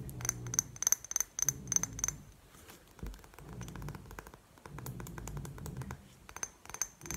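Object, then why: Glass perfume bottle. Long painted nails tap a rectangular clear glass perfume bottle with a gold cap, partly filled and held sideways. The result is quick, irregular clicks with a short, bright glassy ping, mixed with soft rustling and scraping between the taps.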